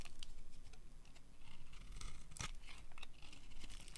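A metal blade edge carves a solid, hand-sized pink bar of dry soap, shaving off crumbly curls. Quiet, dry scraping and crackling sounds come in short, scattered bursts with bright crisp ticks over a low rumble, and one sharper crack stands out near the middle.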